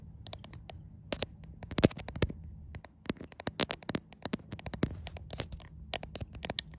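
Fingertips and long white nails scratch and tap the back panel of a white iPhone with a glass back, seen in a mirror. Quick, dry clicks and scratchy bursts with bright highs come in irregular clusters over a low background hum, each hit dying away almost at once.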